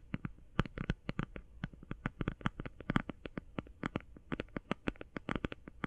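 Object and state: Plastic eye shadow palette.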